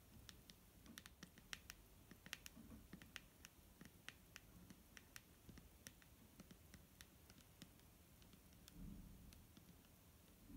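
Long nails tap rapidly across the front of a large, clear plastic micellar water bottle that is full of liquid and held in the hand. The result is a quiet, irregular patter of sharp, bright clicks that die away almost instantly over a soft low rumble.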